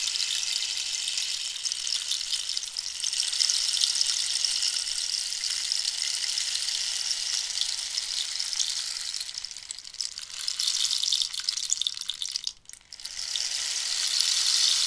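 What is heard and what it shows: A hollow dried-cactus rainstick is held at an angle while long nails scratch and tap its ribbed surface. The result is a steady, bright, hissy rustle like falling rain or sizzling, with faint squeaky scrapes. It dips briefly near the end before resuming.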